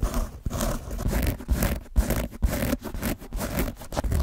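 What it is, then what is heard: Soft foam dice. A large pink soft foam or plastic die with a textured surface, hollow-feeling and held in both hands close to the microphone, is scratched and rubbed with fingertips and nails. The result is a run of irregular, scratchy rustling strokes with short gaps between them, heavy in low, muffled rumble and with little bright detail.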